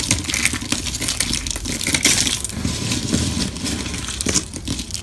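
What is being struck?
Thin soap sheets crushed by hand on stone.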